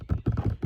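Fingers tap a cardboard box of Cheez-Its crackers that is propping up a phone outdoors on a porch, just for fun. A quick run of dull, low cardboard thumps is heard, each dying away almost at once with no bright edge.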